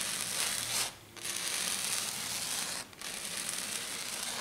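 Long dark nails rub and scratch fast and hard across a flat silver glitter sheet, probably glitter foam. The result is a dense, bright, hissing scrape that comes in three sustained bursts, separated by two brief pauses.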